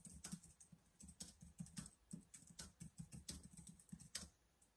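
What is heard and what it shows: Fingertips type on the keys of a black plastic laptop keyboard in a steady, uneven run of keystrokes. Each press gives a short, dry click with a soft low thump beneath a bright, crisp tick that dies away almost at once. The overall level is quiet.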